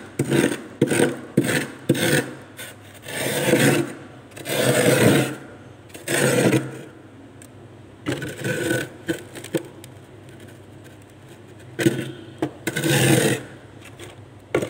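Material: Ice.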